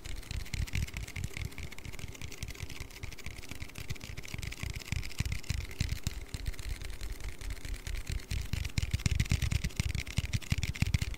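An aluminium Red Bull energy-drink can is tapped and handled in a quick, continuous stream of short, dull thuds with a deep low-end body and faint bright clicks. Each tap dies away almost instantly, and the tapping grows somewhat louder and busier toward the end.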